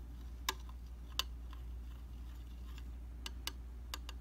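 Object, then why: Glass vanity mirror. A slim metal, tweezers-like tip taps the solid flat glass of a round tabletop vanity mirror. Irregularly spaced, sharp, bright clicks ring around 3 kHz and die away almost at once, over a steady low hum.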